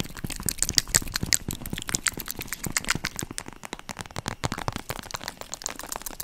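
Long nails tap rapidly on a holographic vinyl zip makeup pouch held in both hands near the mic. The result is a dense stream of quick, crisp clicks with a bright, crinkly crackle as the vinyl flexes under the taps.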